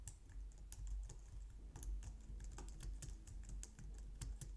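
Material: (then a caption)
Plastic. A low-profile white and light-grey plastic wireless keyboard on a glitter mat on a wooden desk is typed on with long painted nails and fingertips. Quick, irregular key taps click brightly over a steady low hum, and each tap dies away almost at once.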